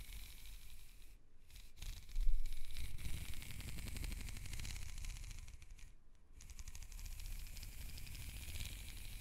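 Long nails scratch up and down the corrugations of a black, ribbed, hollow plastic hose held upright, making a fast, bright, rattling ripple of tiny clicks over a low hollow rumble. The scraping swells loudest about two seconds in, pauses briefly twice, and continues as a steady soft buzz of ridges.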